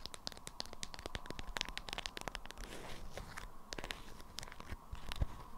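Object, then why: Beeswax-coated fabric wrap. Long acrylic nails scratch and tap the waxy surface of a small round bundle wrapped in an orange-print, beeswax-coated fabric wrap, with its contents hidden. The result is a quick, dense run of dry, crackly taps and crinkling scratches, each snapping off sharply, over a faint steady hum.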